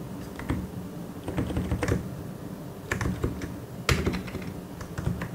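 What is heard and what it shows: Slow fingertip typing on a white and grey plastic mechanical keyboard gives a loose run of clicky keystrokes, some landing in quick clusters and a few sharper, brighter clacks standing out. Each press has a short, low-weighted thock with a bright click on top, over a faint steady background hum.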